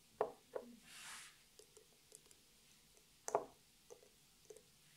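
Long natural nails tap and click on the sides of a small clear glass nail polish bottle with a white plastic cap, partly filled with clear liquid. Two louder taps open the clip, followed by a brief bright hissing swish, then a run of quieter, scattered clicks and one more strong tap near the middle. The taps are short and dry with a glassy mid-pitched ring that dies away quickly.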